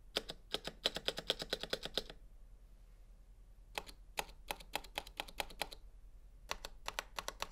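A single gloved fingertip presses and taps individual plastic keycaps on a full-size black Razer Huntsman V2 Analog mechanical gaming keyboard, with a hollow housing and switches on a metal and plastic frame, lying flat on a white table. Three runs of quick, sharp, bright clicks are heard, separated by short quiet pauses. Each click is dry and dies away almost instantly, with little low-end thump.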